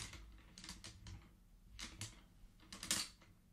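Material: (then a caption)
Wood. Fingertips rapidly push colored wooden beads along the metal rods of a wooden abacus, producing quick bursts of dense, bright clacking. The clicks are short and dry over a faint low hum, with the loudest cluster near the end.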